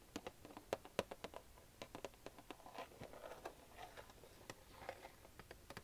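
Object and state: Cardboard collectible toy box.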